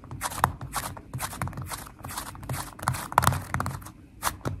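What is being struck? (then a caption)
Slime with foam beads. Fast tapping with long nails and fingertips on a flat purple glitter slime with foam beads produces a steady run of short, crackly clicks and pops with soft low thuds underneath. A few sharper snaps ring briefly around 1 kHz, and each tap dies away almost instantly.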